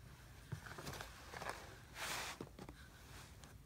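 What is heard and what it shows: A hand squeezes and crumbles a clump of brown kinetic sand over a blue plastic tray, fingers pressing into the heap. Soft, muffled thumps and a grainy crumbling rustle are broken by a brief, brighter hiss of spilling sand in the middle. It is quiet and close, with no ring after each touch.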